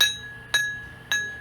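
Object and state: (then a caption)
Uncracked grinding wheel (clear ring). An abrasive grinding wheel, held lightly, is tapped gently three times for a ring test. Each tap gives a clear, high, bell-like ring that carries through. The full ring shows the wheel is not cracked.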